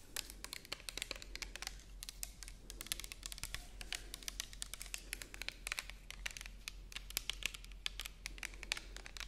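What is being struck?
Plastic bottle.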